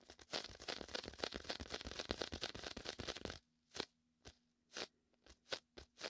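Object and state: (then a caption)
Inflatable vinyl beach ball. Fingertips and a palm tap and pull on the sticky surface of a large, hollow, air-filled red-and-white inflatable PVC vinyl beach ball held beside a binaural microphone. A dense run of rapid, bright, crackly sticking-and-peeling sounds fills the first half. It then thins into several separate short tacky pops and peels with quiet gaps between them.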